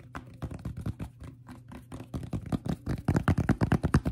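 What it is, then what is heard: Fabric fitted cap tapped. A cream and brown fitted baseball cap with a stiff brim is held in the hands while fingertips and short nails tap its brim and crown. About two dozen soft, dull, low taps come in an uneven rhythm, each dying away almost instantly, growing louder and quicker toward the end.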